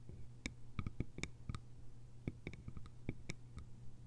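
Long almond-shaped nails tap the upper sides and lid rim of a small, round, hollow bamboo jar with a lid. The result is a quiet, irregular series of short, dry clicks with bright, hollow overtones and almost no ring, over a steady low hum.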